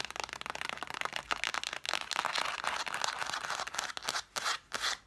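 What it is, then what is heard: Cloth-bound hardcover books scratched and tapped. Long nails rapidly tap and scratch the cloth spines of a solid stack of red cloth-covered vintage hardcover books, stacked spines forward. The result is a dense, bright, papery stream of quick clicks and scrapes with almost no low end. Near the end it breaks into short bursts separated by brief pauses.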